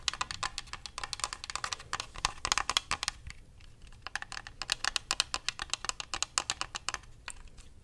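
A white, hand-sized, hollow plastic Xbox controller is tapped and its buttons clicked by fingertips and nails. The result is a rapid stream of sharp, bright clicks and taps that die away almost at once, with a brief quieter pause near the middle.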